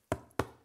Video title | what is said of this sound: How To Make The Worlds Tastiest Sourdough bread (Updated) | you tap it it sounds hollow you know it's baked